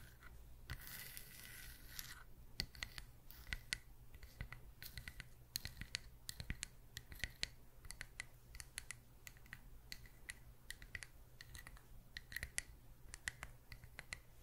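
Long acrylic nails tap and scratch the face and bark edge of a palm-sized, solid, round natural wood slice coaster with visible growth rings, held close to the microphone. The clip opens with a brief bright, rasping scratch, then a long run of quick, sharp, dry clicks and taps. A faint steady low hum sits underneath throughout.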